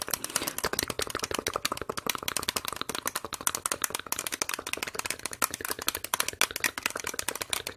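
A single small, clear, ribbed plastic medicine cup, hollow and empty, is held in one hand and rapidly tapped and scratched with long red acrylic nails close to the microphone. It makes a dense, fast run of sharp, dry clicks and scrapes with a bright, hollow plastic tone around 1.4 kHz, very little low end, and almost no ring after each hit.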